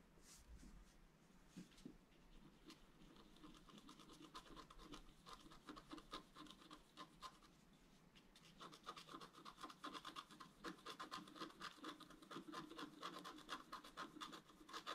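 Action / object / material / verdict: scrape / wax-coated scratch-art paper sheet scratched with a wooden stylus / coated paper / none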